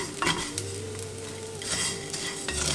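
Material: Rice.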